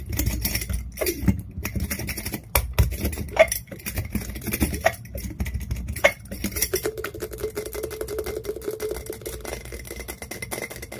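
Fast tapping with long fingernails and fingertips on the glass lid and rim of a small, empty, clear glass clip-top jar with a metal wire clasp. The result is a dense, rapid stream of sharp clicks and hollow taps, some leaving brief glassy rings around 650 Hz. Toward the end, a faint steady tone near 450 Hz hums beneath the taps.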